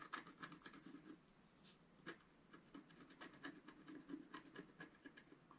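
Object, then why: Scratch art paper sheet with wooden stylus. A wooden stylus scratches short strokes into the coating of a flat, thin, black-coated scratch art sheet. It makes quiet, dry, raspy scrapes with bright edges, coming in an uneven series of brief bursts with a short pause in the middle.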